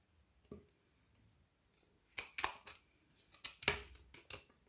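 A metal knife scrapes along the edge of a solid frozen Orion milk chocolate bar with banana and cacao filling, held in hand and already partly shaved. Short, dry, bright scraping strokes come in irregular bursts, mostly in the upper range with little low end, each dying away almost at once against a quiet background. Chocolate shavings peel off the bar.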